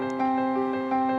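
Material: Nothing is struck.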